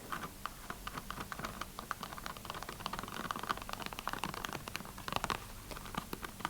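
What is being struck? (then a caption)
Small cardboard box. Fingernails scratch and tap on a small red cardboard box of black tea, producing quick, dry clicks and scratchy rustles in a rapid, irregular patter. The dense taps are too frequent to count and fade almost instantly.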